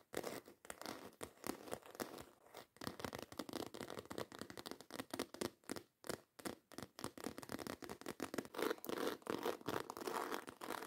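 Long acrylic nails scratch and tap quickly and intensely across the textured surface of a black croc-embossed faux leather handbag. Dense bursts of dry, crackly scraping and clicking repeat with short gaps, and the energy sits mostly in the mids.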